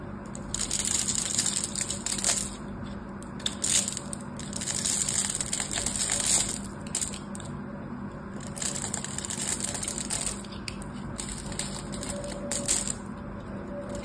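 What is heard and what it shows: A small black craft knife cuts and scrapes grid cubes from the surface of a solid blue bar of hard, dried soap held in the hand, and flakes fall onto the table. Bright, crisp crunching and scratching come in several dense bursts over a faint, steady low hum.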